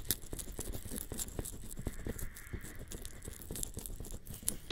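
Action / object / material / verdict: tap / silicone ears of a binaural microphone / silicone / none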